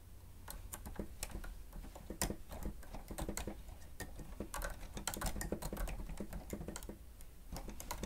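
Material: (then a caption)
Plastic. A grey plastic stenotype machine with a screen has its keys pressed rapidly with the fingertips and nails of both hands as it is typed on. The result is a fast, uneven stream of sharp, bright plastic clicks and taps that ring out quickly over a steady low hum.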